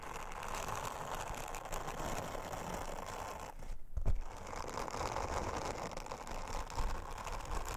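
Long-nailed fingers rub an orange silicone bristle scrubber over a flat, thin, round blue silicone honeycomb trivet. The result is a steady, dense brushing and scratching texture, heavy in the low end. It briefly pauses near the middle before a soft bump, then the rubbing resumes.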